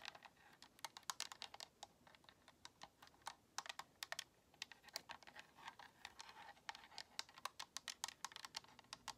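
Long nails tap and scratch the front face and buttons of a white, hollow plastic Xbox controller. The result is a rapid, uneven stream of sharp, bright plastic clicks that die away almost instantly, with soft scratching between them and almost no low end.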